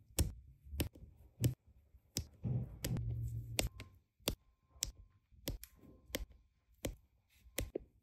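A plastic drill pen with a metal tip repeatedly taps small, solid, round resin diamond painting drills into place on a flat adhesive canvas. The result is a steady series of short, crisp clicks with dull low thumps, separated by quiet pauses and a faint low hum.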